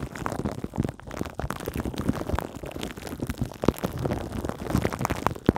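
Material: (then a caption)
Plastic film. Long green acrylic nails on both hands scratch and tap the metal mesh grille of a Blue Yeti microphone wrapped in clear plastic cling film. The result is a steady, dense run of soft crinkling scrapes and quick dull taps, weighted toward the low and middle range with almost no bright edge.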